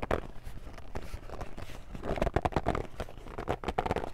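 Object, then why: Closed cardboard game box. A medium, hollow, closed cardboard Family Feud board game box is gripped and scratched along its printed surface with long fingernails. Dry, uneven scraping and crinkling bursts come in quick succession over soft low thuds, with no ringing after each stroke.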